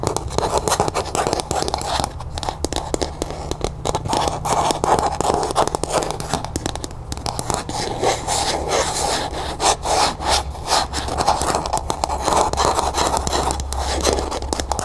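Long nails rapidly scratch and tap the ribbed sides of a small, hollow, matte pink plastic cup held in the hand. The result is a continuous, dense scraping rustle with quick clicky taps, centered in the mids around 800 Hz, over a faint steady low hum.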